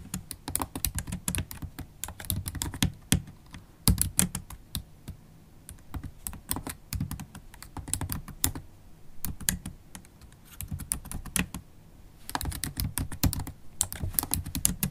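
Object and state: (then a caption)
Plastic laptop keyboard being typed on. Long holographic acrylic nails and fingertips type continuously on a MacBook Pro keyboard with black plastic keys in an aluminium body. Dense bursts of sharp, quick clicks with bright tips and a soft low thud underneath come in runs, broken by a few brief pauses.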